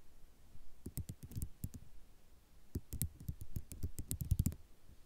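Long nail tips tap a white ceramic mosaic tile sheet, making quick, dry clicks with a dull low thump beneath each one and almost no ring. The taps come in two bursts separated by a short pause, and the second burst is denser and slightly louder.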